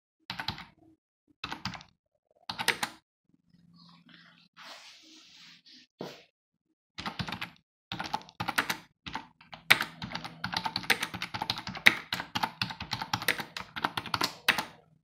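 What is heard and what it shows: Fingertips tap the keys of a black plastic computer keyboard with a hollow housing resting on a desk, first in three short bursts of bright, clicky keystrokes, then a quieter stretch of soft, faint noise. From about the seventh second, typing runs steadily to the end as a dense stream of sharp, dry clacks with very little ring.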